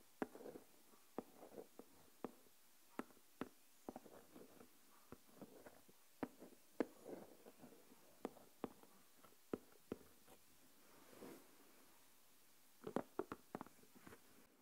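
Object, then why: Plastic deli container filled with coarse salt. A single fingernail taps and scratches the lid top of a small translucent plastic deli tub full of coarse salt. Quiet, sharp clicks with almost no ring are spaced through the clip, with soft scratchy rustles in the low-mid range between them. A longer scrape comes near the middle-end, and a quick burst of taps closes the clip.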